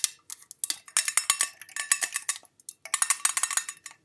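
A hollow, pale-green ribbed metal Jean Paul Gaultier La Belle perfume tin, tilted and turned so its shiny metal bottom shows, is tapped and scratched with long nails along its ribbed side and rim. Quick, bright metallic clicks and scrapes come in dense bursts separated by short pauses, each dying away almost instantly with no low end.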